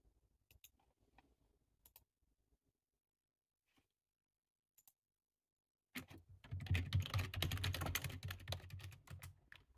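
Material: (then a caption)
Plastic. Two hands type with short-nailed fingertips on a black, low-profile, hollow-bodied plastic computer keyboard resting on a table. Scattered single key taps are followed by a near-silent pause. At about six seconds a dense, rapid burst of typing begins, with soft low thuds under bright, crisp clicks.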